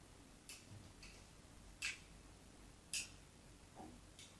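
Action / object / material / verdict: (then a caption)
scrape / soap bar scored with a metal knife tip / soap / none. A metal craft knife tip scores lines across the surface of a solid white bar of soap held in the hand. It makes short, bright scratching strokes at an uneven pace, two louder than the rest, over a quiet background hiss.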